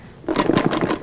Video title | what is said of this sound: Pendidikan Jasmani - Konsep Pergerakan - Bentuk dan Imbangan | Saya dengar bunyi macam sesuatu cikgu. Nak kata gula-gula, bukan gula-gula